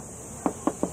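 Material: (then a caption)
Hard plastic. Knuckle knocks on the rear fender flare of an all-new sixth-generation Ford Bronco give three short, dull, hollow taps with almost no ring. The flare looks rugged but sounds like hard plastic or fiberglass, as is normal for this part, which is extended for mud protection and to clear the large tires.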